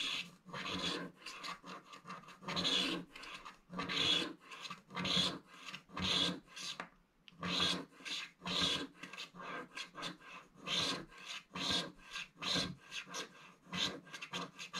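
A thin wooden stick scrapes the lower edge of a flat, black-coated scratch-art paper page in repeated strokes. Each stroke makes a dry, bright rasping scratch with little low end, and the strokes come as a steady series of short bursts with brief pauses between them.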